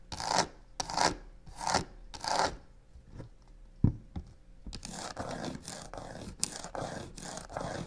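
Long pink-painted nails and fingertips quickly scratch and tap along the side of a medium, rigid-looking black box covered in embossed crocodile-pattern faux leather with white stitching, resting on a wooden table. Four bright, rasping scratch strokes open the clip, followed by a few scattered, dull taps, then a steady run of fast, dense scratching fills the final three seconds.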